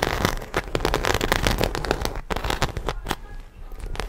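Long acrylic nails scratch the textured side panel of a small black croc-embossed faux leather shoulder bag, hollow and apparently empty, held in both hands. The result is a dense run of dry, crackling scrapes and sharp ticks that rises and falls steadily. Brief brighter clicks stand out above a low, hollow rustle.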